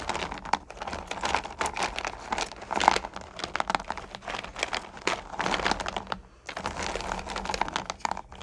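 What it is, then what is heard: Small hard candies stirred in a plastic bucket. Fingers with long nails push into and stir small, solid candy corn pumpkins in a purple plastic bucket. The result is a dense stream of crisp clicking, rattling and crinkling in busy bright bursts, with a brief lull near the end before the stirring resumes.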